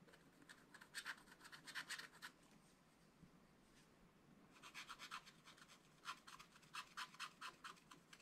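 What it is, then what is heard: Scratch-art paper being scratched. The pointed tip of a wooden stylus scratches short strokes into a flat, black wax-coated scratch-art paper page in a spiral book. Quick, bright, dry scratches come in rapid clusters: a burst early on, then a quiet pause, then a longer run of strokes to the end. A faint hiss sits underneath throughout.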